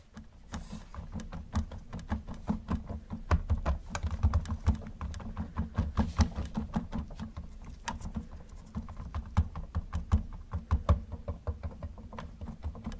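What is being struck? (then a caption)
Hollow plastic toy car. Gloved fingertips tap rapidly and continuously on the roof of a hollow yellow plastic Camaro model car, which is turned sideways after the start. The taps are short, dry and clicky with almost no ring, over a steady low hum centered around 200 Hz and below.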